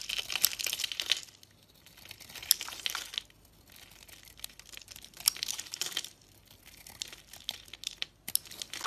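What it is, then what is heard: Dry, crumbly soap bar being shaved. A utility blade carves into a dry, chalky, crumbly, hand-sized solid white oval bar of soap, shaving it into flaky curls and powder. Crisp, bright scraping and crackling comes in several bursts of carving separated by brief quiet gaps, with almost no low end.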